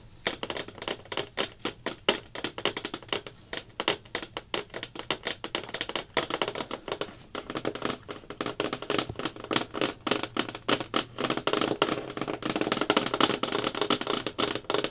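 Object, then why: Thin plastic bucket lid. Fingertips and nails from both hands tap rapidly on a thin, hollow-backed round blue plastic bucket lid. The result is a dense stream of short, dry, hollow taps with a mid-pitched plastic tone and crisp, bright clicky edges, with almost no low end. The taps grow slightly louder and more continuous toward the end.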